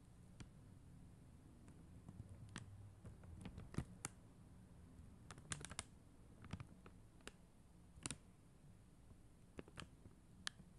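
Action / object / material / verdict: tap / plastic rhinestone sticker sheet tapped with acrylic nails / acrylic plastic / none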